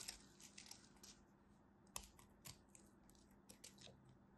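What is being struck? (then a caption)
Bar soap cut with a knife. A craft knife cuts and scrapes a solid blue-and-white striped bar of soap held with long white nails. Quiet, bright, crisp crackling scrapes and clicks come at irregular intervals, each dying away almost at once, with a sharper snap near the middle.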